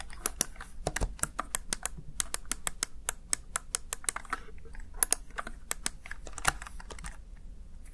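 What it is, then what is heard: Plastic gaming keypad. Fingertips tap and press the backlit keys of a plastic Razer Tartarus Chroma gaming keypad over and over. The result is a rapid, uneven run of short, dry clicks with bright tops and a soft low thump under each press. The clicks do not ring out between presses.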